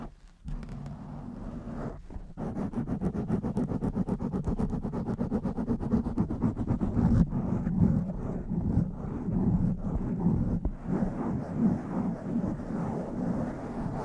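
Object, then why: Foam microphone windscreen. Long manicured nails scratch a soft blue foam windscreen over a microphone, with fingers moving across its top and sides. The result is a dense, muffled rustling and scratching, heavy in the low end, with quick strokes that swell and fade steadily for the whole clip.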